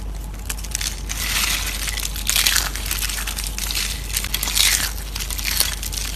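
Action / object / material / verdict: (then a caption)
scrape / dried soap curls / soap / none. Fingertips crush and crumble thin, hollow-rolled, brittle tan dried soap curls on a white plate, breaking them into fine flakes. A dense, bright crunching and crackling runs throughout, swelling into louder bursts several times, over a steady low hum.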